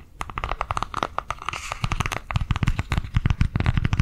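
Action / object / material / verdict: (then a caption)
tap / plastic cardholder book / plastic / none. A small white plastic cardholder book, held up in both hands, is tapped quickly on its cover and edges with long nails. The result is a rapid, steady run of short, dry clicks and hollow taps, with bright clicky edges over soft low thumps that grow slightly louder toward the end.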